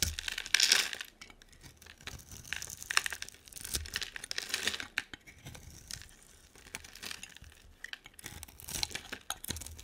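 A utility knife blade scrapes and carves a hand-sized, solid purple bar of soap with a black coating into shavings. Bright, crisp scraping and crackling strokes come in quick bursts, loudest near the start, then continuing unevenly with little low end. Each stroke cuts off sharply with almost no ring.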